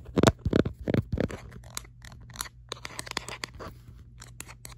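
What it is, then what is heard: Rubber grip plastic phone case. A smartphone held in one hand, in a hollow orange-red textured rubberised plastic grip case, has its back tapped and scratched quickly by long acrylic nails. Loud, dense scratching bursts open the clip, then thin into sharper, scattered clicks and scrapes over a steady low hum.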